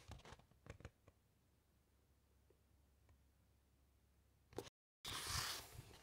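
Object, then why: Thick paper book pages. Fingertips with long nails glide over the thick matte pages of an open large encyclopaedia, making a cluster of soft, crisp scratches and ticks at the start before a long near-quiet stretch. Near the end, a brief brushing burst is followed by a moment of complete silence, then a loud, bright, papery rustle as a page is turned.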